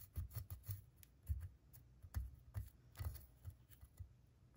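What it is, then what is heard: Plaster dig block being scraped. A pointed wooden pick scratches a solid plaster gemstone dig block while the other hand holds the block steady. It makes an irregular series of short, dull scraping strokes with low thuddy weight and faint bright ticks. The scratches are quiet and die away almost immediately.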